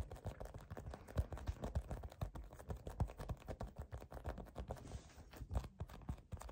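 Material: Foam.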